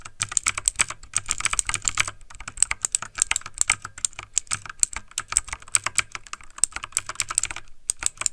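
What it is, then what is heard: Mechanical keyboard typing. Fingertips of both hands type fast on a backlit plastic mechanical computer keyboard. Rapid, bright, clicky key taps stop almost instantly, coming in dense bursts with brief pauses near 2 and 8 seconds over a faint low hum.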